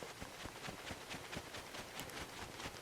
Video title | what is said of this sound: NOMA 8hp Snowblower New Carb, New Problem? part 2 | if i hold these things steady and i shake it you don't hear anything